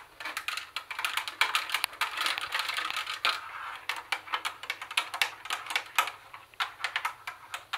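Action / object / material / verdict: tap / plastic boombox casing / plastic / none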